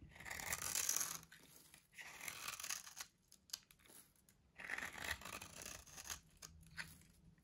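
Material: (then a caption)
Soap. A solid, dry orange soap bar with a grid-cut surface, held in the hand, is carved into small crunchy cubes with a metal blade. Bright, dry crunching and scratching bursts swell and fade, with the loudest stretches near the start and just past the middle. Quieter scrapes fall between them as the cubes break away.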